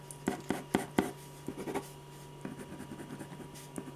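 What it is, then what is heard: Pen scratching on a paper sketch pad. A metal ballpoint pen tip scratches short strokes across a large sheet of white drawing paper resting flat on a firm, solid board while drawing a face. Four sharp, quick strokes come first, then lighter, softer scratching continues over a faint steady low hum.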